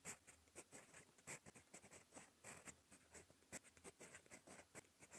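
A gold metal fountain pen nib scratches across a cream lined paper notebook page while writing. Quiet, bright, dry scratching strokes come in short, irregular bursts with little low end and almost no ring after each stroke.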